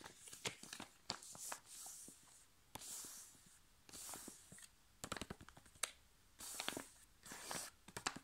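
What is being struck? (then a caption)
Foil-laminated sheet mask sachet. A flat, sealed, foil-laminated plastic sachet holding a sheet face mask is gripped, squeezed and scratched with long nails. This produces bright, crisp crinkling and sharp clicky taps. Short scratching swells of high hiss come and go between them.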